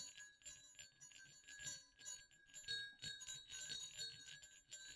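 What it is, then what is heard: Pair of metal jingle bells. Two small hollow silver metal jingle bells on a dark string over black cloth are jiggled and shaken by hand. They produce about a dozen irregular bright jingles and clicks, pitched near 3.8 kHz with higher overtones. Each ring dies away within a fraction of a second.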